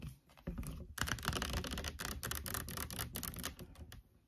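Long nails quickly tap and scratch the sides and label of a large orange plastic fabric conditioner bottle, likely full, standing on a wooden table. The tapping is fast and irregular: dull, hollow low thuds layered with bright, papery scratching that dies away almost immediately. The sound starts quiet, jumps louder, stays busy throughout, then fades near the end.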